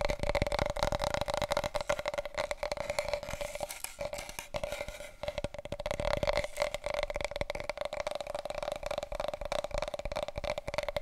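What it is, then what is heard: Large cardboard paper roll tube. Long coral nails and fingertips tap and scratch fast along a long, wide, hollow, empty brown cardboard tube from a huge paper roll, held across the body. A dense stream of dry, hollow taps and scratchy rasps rings with a steady tube resonance near 600 Hz, with a brief softer stretch in the middle before the rapid tapping picks up again.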